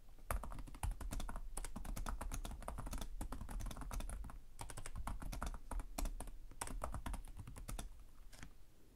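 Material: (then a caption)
Plastic. Both hands type rapidly with their fingertips and short nails on the plastic chiclet keys of a black laptop resting on a desk. The result is a dense, steady stream of crisp key taps with short bright clicks over a low thud, and the typing trails off near the end.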